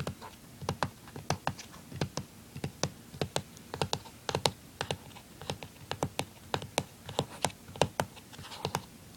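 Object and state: Plastic handheld game console.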